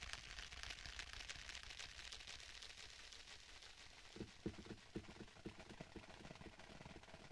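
Fingertips tap lightly on the cover of a black stitched faux leather tablet case. A soft, crackly, bright rustle fills the first half, then short, dull, muffled taps come at a quick, uneven pace and die away almost at once. The whole clip stays quiet.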